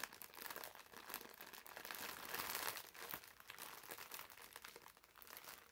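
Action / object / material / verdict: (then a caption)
scrape / foam bath sponge in a plastic wrapper / plastic film / none. A green foam bath sponge in a clear plastic wrapper is held in the hands and squeezed and crinkled with fingertips and nails. The result is a quiet, continuous stream of dense, bright plastic crinkling and crackling with almost no low end, swelling slightly in the middle before settling back.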